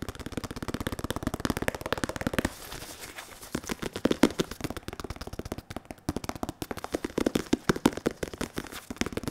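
A black, white and red padded synthetic leather boxing focus mitt is held against the microphone while its surface is tapped and rubbed with latex-gloved and bare fingertips. Fast, steady, dull tapping runs for the first two and a half seconds, then gives way to softer rubbing with scattered taps, before rapid tapping returns near the end.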